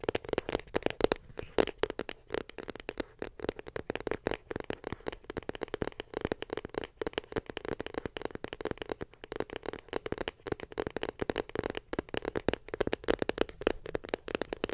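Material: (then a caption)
Cardboard. Long pink acrylic nails tap rapidly on a small, closed, hollow box of white glossy cardboard that held an iPhone. The result is a dense, continuous stream of dry, clicky taps with a hollow, mid-pitched tone around 440 Hz. Each tap dies away almost instantly.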